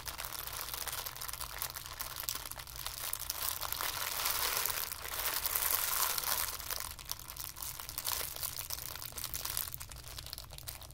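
A crumpled ball of white tissue paper is crushed tighter between the palms and thumbs, producing a steady, dense crackle of bright, papery crinkling. The crinkling swells louder around the middle of the clip, then eases back to a softer, continuous rustle.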